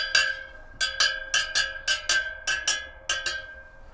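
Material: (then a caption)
Steel. After refitting the rear wheel of a Yamaha Tenere 700, the steel spokes are tapped one after another, giving 11 short, bright metallic pings with a clear tone around 1.6 kHz that fade quickly. The spokes all ring roughly the same, meaning the spoke tension is even.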